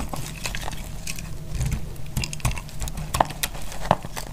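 A utility knife blade cuts and scrapes a solid, dry blue glycerin soap bar held in the hand. Irregular crackling and snapping flakes break off over a low, steady rumble, with a few sharper clicks standing out near the end.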